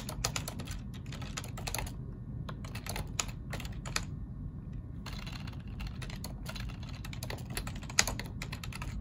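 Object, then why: Plastic computer keyboard. Both hands type with their fingertips on a black plastic ergonomic computer keyboard, producing a steady run of quick, bright, dry key clicks. The clicks are layered over a constant low background rumble, with a couple of short pauses between bursts of typing.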